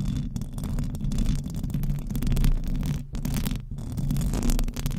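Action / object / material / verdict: scrape / metal mesh microphone grille / metal / none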